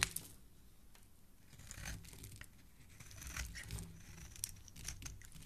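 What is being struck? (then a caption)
Bar of soap. A solid pink bar of soap, held in fingers with dark nail polish, has its surface scraped with a black blade, and shavings fall away from the same bar throughout. Soft, crisp scraping and crinkly, tearing-like strokes swell and fade over a low, steady rumble, with a few sharp, bright clicks standing out.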